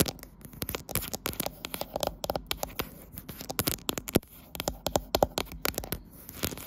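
Long nails tap and scratch the matte glass back and top area of a glass-backed smartphone with a metal frame, held in a tripod clamp. A rapid, irregular stream of short, sharp clicks with bright edges mixes with soft scratching and crinkly rustles. Each tap dies away almost instantly.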